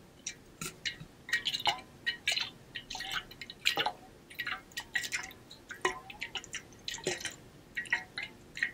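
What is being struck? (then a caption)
Stainless steel water bottle with water. A partly filled pink-blue ombre stainless steel water bottle is held in one hand and shaken, so the water sloshes inside. The result is a quick, irregular run of bright, short drips and splashes with a faint metallic ring near 2.9 kHz, each dying away almost at once, and almost no low end.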